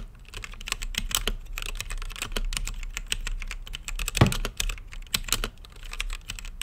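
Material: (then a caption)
Plastic. Fingertips type steadily on an RGB-lit mechanical keyboard with plastic keycaps and a clear acrylic case. The rapid key presses make short, bright clacks over a low, thocky body, with one noticeably harder press about two-thirds of the way through.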